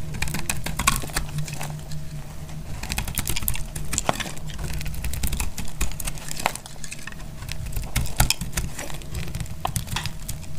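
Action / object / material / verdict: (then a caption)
scrape / glycerin soap bar / glycerin soap / none. A solid, translucent blue bar of dried glycerin soap is cut in the hand with a snap-off metal blade, shaving off crunchy slivers. Dense, dry crackling and quick clicking crunches run steadily throughout over a low, muffled rumble, with a few sharper, brighter snaps standing out.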